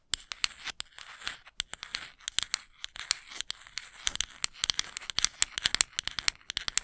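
Long acrylic nails scratch and rake across the fine teeth of a small, flat, solid wooden comb held close to the microphone. The result is a rapid run of about 38 crisp, bright, high-pitched clicks and raspy scrapes with almost no low end. Each tick stops dead with no ring.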